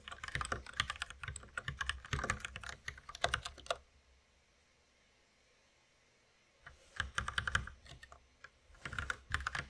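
A white compact mechanical keyboard with plastic keycaps and a red accent key, resting on a wooden desk, is typed on with the fingertips of both hands. Rapid, bright clicking keystrokes run for about four seconds, then stop for roughly three seconds of near silence before the typing resumes in bursts.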